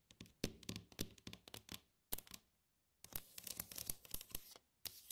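Long nails scratch, tap and trace along the ridges and dividers of an empty, glossy red plastic compartment tray. The result is a quiet run of short, dry clicks and bright scratchy strokes with almost no ring. A brief silent pause comes midway before a denser flurry of taps and scrapes.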